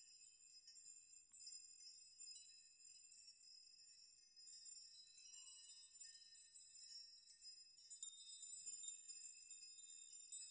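A chime of hanging metal nails is pushed with open palms so the strands swing and the nails clink together. The result is a quiet, continuous, irregular shimmer of bright, high metallic tinkles with short rings and no low end.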